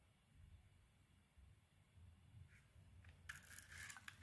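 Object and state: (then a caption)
Bar soap being scraped. A snap-off utility knife blade scrapes the embossed surface off a solid, hand-sized pink ISANA bar of soap. A quiet, low rumble runs for about three seconds, followed by bright, crisp scraping and crackling bursts toward the end.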